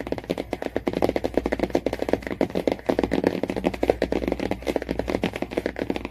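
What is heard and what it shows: Fingernails tap rapidly and continuously on the laminated cardboard cover of the same hardcover Jungle Book. The taps are dry, clicky and mid-pitched, centered around 480 Hz, with almost no ring after each strike. They form a dense, uneven patter for about six seconds.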